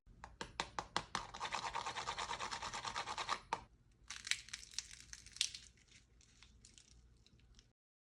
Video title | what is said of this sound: RECETTE DE SAMOUSSA DE A à Z TRÈS FACILE À RÉALISER #samoussa | bien dorés, bien croustillants